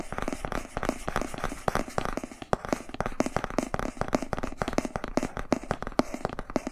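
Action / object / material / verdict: scrape / thick cardboard board book / cardboard / none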